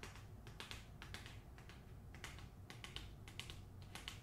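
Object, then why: Paper-covered hardcover book. Long nails tap quickly across the glossy dust jacket and spine of a closed hardcover copy of the novel "The Hacienda," turned toward its spine. The taps are sharp, bright clicks that die away quickly, sitting over a steady low hum.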